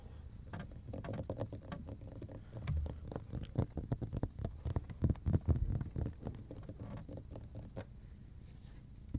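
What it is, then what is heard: Cutting board tapped and drummed. A large, flat, thin, dark grey speckled cutting board, solid and held upright in both hands, is tapped and drummed with fingertips and nails. The result is a fast, irregular patter of short, dull, low taps that die away at once. The taps grow louder and busier in the middle before thinning out toward the end.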